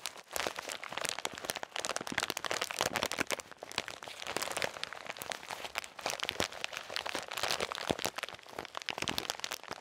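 A blue and white crinkly plastic snack bag full of shelled salted peanuts is squeezed and crinkled with painted-nail fingertips close to the mic. Dense, bright crinkling and sharp crackles run continuously for about ten seconds with almost no low end.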